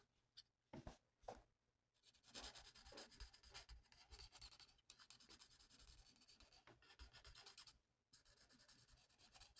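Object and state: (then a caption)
Paper sheet being coloured with a marker. A felt-tip marker colors a mandala on a thin, flat paper coloring sheet. A few short, separate strokes come first, followed by steady back-and-forth rubbing and scratchy, writing-like strokes with a bright, papery hiss. The sound stays quiet and close throughout.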